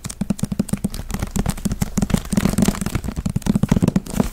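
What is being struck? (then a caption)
Hardcover paper book. Quick fingertip and nail taps land on the cover and spine of a thick hardcover book with a dust jacket over a solid block of paper pages. They form a rapid, uneven stream of dull, low, papery knocks around 200 Hz, with faint crisp clicks on top. Each tap dies away almost at once with no ring.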